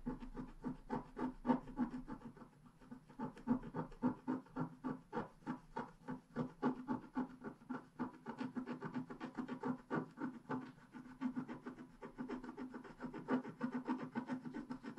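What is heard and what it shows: A wooden stylus scrapes leaves along the bottom edge of a flat, black-coated scratch-art paper page in rapid strokes. The result is a steady, quiet run of short, dry scratches at about three to four per second, with a soft papery rasp centred in the low mids and little bright content.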